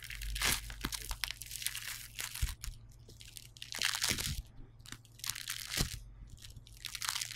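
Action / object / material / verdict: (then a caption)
scrape / polystyrene bead foam clay / polystyrene beads / none. A solid, hand-sized yellow lump of foam clay made of tiny polystyrene beads sits on a white table and is crushed, kneaded and pulled apart with the fingertips. It gives dense, bright crunchy crackling in repeated bursts over a low steady hum.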